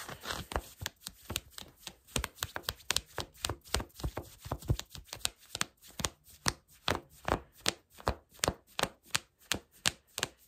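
Fingertips and short nails scratch and rub black cotton fleece sweatpants, worn on the lap, just below the ribbed elastic waistband. About 35 quick, dry scratching strokes follow one another in a steady rhythm, each a brief bright rasp with almost no ring, and the strokes grow more evenly spaced toward the end.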